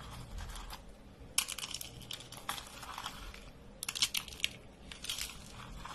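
Fingers squeeze and crush rolled beige soap curls, hollow spirals of thin dry soap. The result is dry, bright, crisp crackling and crunching in quick bursts, with brief quieter pauses between the squeezes.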